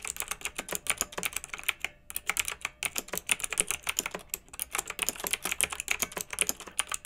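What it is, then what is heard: Plastic mechanical keyboard. Both hands with long red nails type on a pink mechanical keyboard with round retro plastic keycaps, blue backlight and a hollow plastic case. A steady run of quick, bright, clacky keystrokes fills the clip, with short breaks near two seconds and just after four seconds. Each click is dry with almost no ring.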